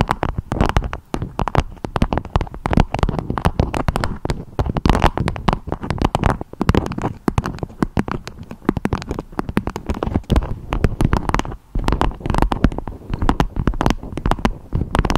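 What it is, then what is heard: Beeswax food wrap. A beeswax-coated fabric food wrap with a strawberry print, shaped into a dome, is tapped and scratched with long acrylic nails. The result is a dense, continuous stream of quick crinkly taps and crackles with a heavy low thump and very little brightness, steady throughout with only brief pauses.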